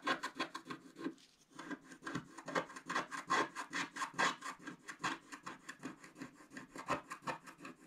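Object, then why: Scratch-art paper scratched with a wooden stick. A wooden stick scratches the coating of a black scratch-art paper page in quick strokes while the other hand holds the page's bottom edge. Dry, bright, rasping scrapes repeat at an uneven pace, with a brief lull after the first second before the strokes resume steadily.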